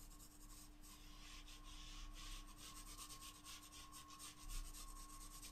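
A wooden graphite pencil draws short, scratching strokes across the surface of a flat paper sketchbook page. The result is a soft, bright, papery rasp that pulses through the clip, with a faint steady hum and low rumble underneath.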